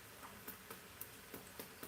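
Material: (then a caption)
Fried corn tortilla. Fried corn tortilla taquitos in a pan are knocked to check that their shells have gone hard. A series of light, dry, clicky taps sounds over a faint steady hiss. The hard, hollow knocks show the taquitos are crisp and fully fried.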